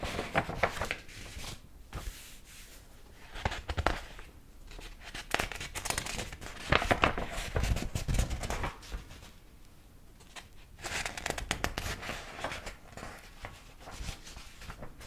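A large old hardcover book with a dark cover and yellowed paper pages is held open in both hands while fingertips lift and flip the pages one by one. Each turn brings a papery rustle and crinkle as the pages rub against each other, in irregular bursts with quieter stretches between.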